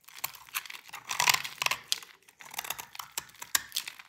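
A utility knife blade scrapes crumbly shavings off a solid white rectangular bar of dry soap held in the hand. The result is a run of dry, bright, crackly scrapes and crunches with no ring, briefly pausing midway before the scraping resumes.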